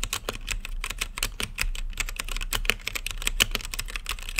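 Fingertips type steadily on a blue-lit mechanical keyboard with plastic keycaps and a clear acrylic case. Rapid, crisp clicks come one after another, each a sharp, bright tap with almost no ring, over a faint low hum.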